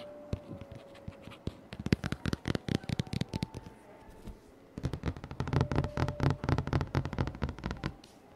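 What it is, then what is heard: Board book pages scratched and tapped. Fingertips and nails scratch and tap the thick glossy paperboard pages of a large children's board book lying open on a dark table, close to the microphone, with one page turned partway through. The result is a fast, uneven run of short, dry, low-heavy scratches and taps with almost no ring, broken by a brief quieter pause before the scratching resumes.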